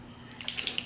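A new liquid eyeliner pen is shaken, making quick, bright rattling clicks from something loose inside. After a quiet start, a cluster of sharp, high-pitched ticks comes in the second half of the clip.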